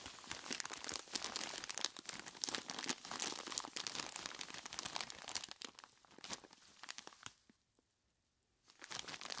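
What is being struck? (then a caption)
Plastic bag filled with ice cubes. Skeleton-claw gloved hands squeeze and scratch a large clear plastic bag full of ice cubes, producing dense, bright crinkling and crunching. The sound thins out after about six seconds, drops to near silence just before the nine-second mark, then the crinkling resumes.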